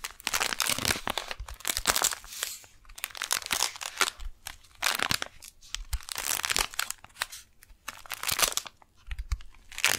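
Long nails tap and scratch the surface of a flat brown kraft-paper retail package with a clear window, a folded beeswax wrap inside, held upright in both hands. Dense, bright crinkling and crunching scrapes come in rapid bursts with brief dry taps throughout.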